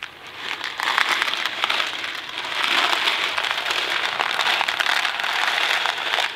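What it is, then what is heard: Box of dry macaroni being shaken. A thin cardboard Kraft macaroni & cheese box filled with dry pasta is held in two hands, with fingertips on the box, and tilted and shaken. The dry pasta makes a dense, bright rattling and crackling that swells up after a quiet start and keeps going in steady, overlapping bursts. There is almost no low end, and most of the energy sits in the upper-mid to high range.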